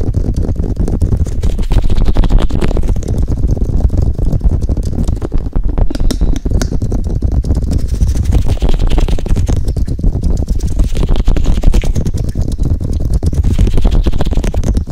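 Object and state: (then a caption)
Silicone microphone ears tapped and rubbed. Fingertips and nails tap and rub the hollow, white silicone ear-shaped pieces on both sides of a black 3Dio binaural microphone. The result is a steady, dense stream of deep, muffled thumps and rubbing rumbles, with faint bright scratches of the nails over the top.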